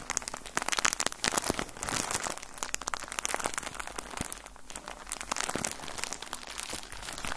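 A full, soft plastic bag of cotton balls is crumpled and squeezed with both hands. It gives a steady run of bright, crinkly crackles and crunches with sharp, quick transients and no lingering ring.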